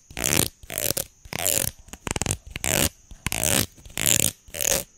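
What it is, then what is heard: Plastic comb. A solid red plastic hair comb is held in both hands while fingers and nails scratch and flick along its teeth. Bright, raspy bursts of scraping alternate with a quick run of sharp ticking flicks, each stroke fading almost instantly, and a thin high tone runs steadily beneath them.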